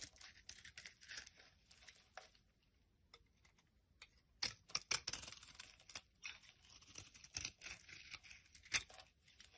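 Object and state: Soap bar being carved.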